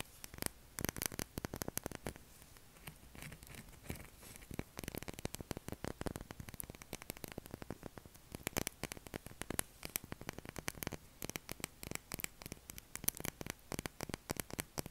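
Short fingernails scratch across the face of a pale blue solid bar of soap held upright. The result is a dense run of quick, dry, crackling scratches with a bright, high edge. Each stroke is clipped short, with a faint low hum underneath.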